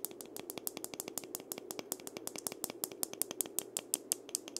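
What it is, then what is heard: Wooden maraca handle. Fingertips rub and scratch along the slender wooden handle of a single gourd maraca held horizontally. The result is a quick, steady run of dozens of dry, bright scratchy ticks, each dying away almost instantly over a faint low hum.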